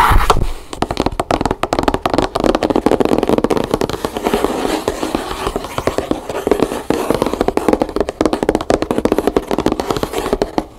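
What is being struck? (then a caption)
Large closed cardboard box. Long painted nails tap rapidly on the side edge and top of a closed, hollow, large black cardboard gift box from a Pimsleur set. The result is a dense, steady stream of short, dry, hollow clicks that sit mostly in the mid range. The taps have little low end and almost no ring.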